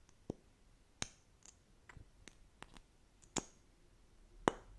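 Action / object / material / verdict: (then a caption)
tap / small plastic lip gloss tube / plastic / none. A small, slim plastic lip gloss tube, apparently filled with gloss, is held in both hands and tapped along its body with long acrylic nails. Sharp, dry clicks and ticks sound at irregular intervals, some louder and brighter, others faint, each stopping almost instantly against a quiet background.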